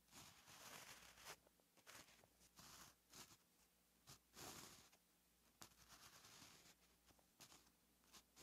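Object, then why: Gel pen on lined paper notebook page. A gel pen writes Korean text on a flat, lined paper notebook page, its tip scratching across the paper. Bursts of bright, papery scratching come in short strokes separated by brief pauses, over a faint low steady hum.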